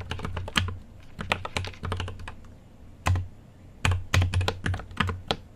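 A mechanical keyboard with an aluminium case and plastic keycaps is typed on by fingertips, giving a run of quick clicky keystrokes with a deep thocky low end and bright clacks. The keystrokes come in uneven bursts with short pauses, each stroke dying away almost at once.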